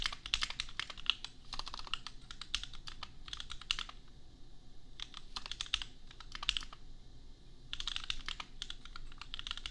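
Fingertips of both hands type on a $250 custom compact mechanical keyboard with Gateron Milky Yellow switches and red and pink plastic keycaps. Quick runs of bright, sharp clacks centered near 3 kHz come in bursts, with short pauses around the 4-second mark and just before 8 seconds. A soft low hum sits underneath.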